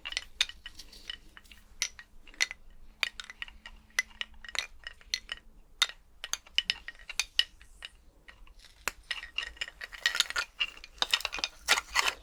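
A skeleton's bones are clinked together, giving dozens of short, dry, bright clicks with almost no ring, scattered irregularly with brief pauses. The clinks thicken into a rapid, dense flurry over the last couple of seconds, while a faint low hum sits under the first half.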